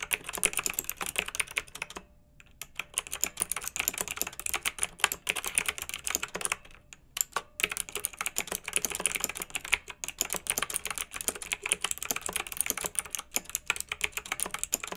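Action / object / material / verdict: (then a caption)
tap / plastic mechanical keyboard with round metal-rimmed keycaps / plastic / none. Two hands type fast with their fingertips on a pink backlit, typewriter-style plastic mechanical keyboard with round metal-rimmed keycaps. A dense, steady stream of bright, crisp clicks rings out, with brief pauses near two and seven seconds before the typing resumes.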